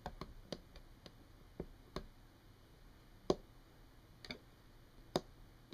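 Long painted nails tap and scratch a solid, flat brown wood-grain tabletop. About eleven short, dry clicks sound at an irregular pace over a quiet hiss, with the sharpest taps near the middle and end.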